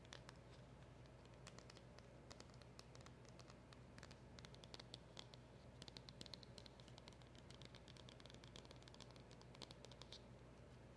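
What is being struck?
Small cardboard box.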